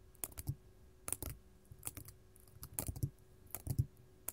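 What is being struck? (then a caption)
Faceted glass crystal. Long gold metal claw nails on both hands tap a large, solid, faceted purple artificial glass crystal gem resting on a table. The quiet, irregular clusters of short, clicky taps have bright tops over a soft low thump. Each tap dies away almost at once with little ring.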